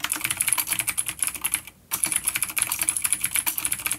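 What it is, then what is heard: Vintage mechanical keyboard, clicky switches. Both hands type steadily on a full-size dark plastic vintage mechanical keyboard with clicky blue switches and grey keycaps, resting on a wooden desk. Rapid, bright, crisp clicks run throughout, with a brief pause near the middle before the typing resumes.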